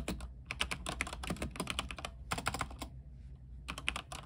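Fingertips type on a mechanical keyboard with white plastic keycaps on a silver backlit frame. Quick bursts of short, bright clicky keystrokes over a steady low hum pause briefly near the three-second mark, then resume.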